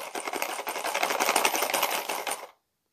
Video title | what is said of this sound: The Listening Game | inside this box i have some coins the coins are what made the sound